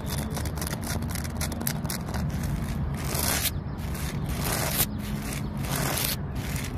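Long nails scratch the rough bark of a large, solid tree trunk, making a continuous dry, crackly scraping. Bright, hissy bursts of scratching rise and fall over a steady low rumble.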